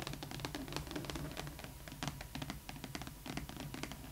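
Long acrylic nails scratch and tap across the flat side of a large, hollow doll box made of glittery holographic printed cardboard. Dense, rapid scratching mixes with quick, crisp taps, and the box gives a faint low hollow resonance underneath.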